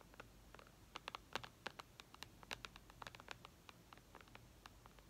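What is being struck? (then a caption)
Glass tablet screen. Long red nails tap and scratch the glass screen of an iPad lying flat. A rapid, uneven run of sharp, clicky taps sounds, bright and dry, each dying away at once, with light scratching between them over a faint steady hiss.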